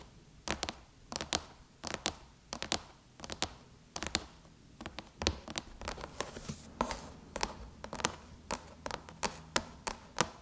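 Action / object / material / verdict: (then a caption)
tap / aluminum laptop lid / aluminum / none. Long chrome nails tap and lightly drum on the closed lid of a silver aluminum MacBook near the Apple logo, the hollow shell answering each touch. Quick, bright clicks come in uneven bursts and clusters, each dying away almost at once, over a faint low hum.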